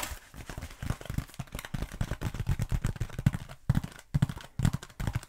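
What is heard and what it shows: Long nails quickly tap and scratch both sides of a black foam roller held upright in front of the face. The result is a dense, irregular run of short, dull, low-pitched thumps mixed with soft scratchy rustling, broken by a few brief pauses.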